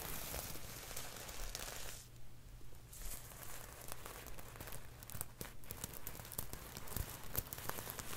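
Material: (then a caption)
Plastic. Fingertips scratch and rub across a rose-gold sequined dress, with small plastic sequins sewn on fabric, while the dress is held up in one hand. The sequins make dense, bright clicking and crinkly rustling over a steady low hum, easing off briefly around two to three seconds before the scratching picks back up.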